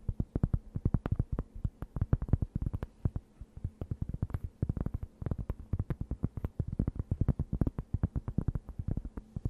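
A thin, round, solid and flat cork board held close to the microphone is scratched with long nails. It makes a rapid, uneven series of short, dull, bassy scratches and taps that stop dead, with almost no brightness and a faint low hum underneath.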